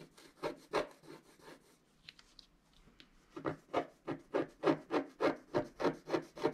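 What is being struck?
Wax-coated scratch-art paper scraped with a wooden stylus.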